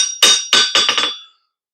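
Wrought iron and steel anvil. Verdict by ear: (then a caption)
Good rebound. A hammer strikes a wrought iron and steel Peter Wright English-style anvil from the early 1800s five times in quick succession. Each strike rings bright and metallic around 3.7 kHz and decays over about a second. The anvil shows a really good rebound.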